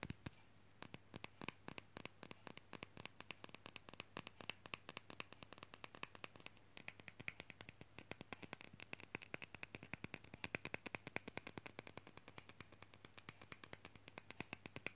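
A small, solid, painted and lacquered wooden matryoshka fridge magnet is tapped and scratched quickly with long fingernails. The result is a dense, steady stream of crisp, bright clicks and scratchy taps that die away instantly, over a faint low hum.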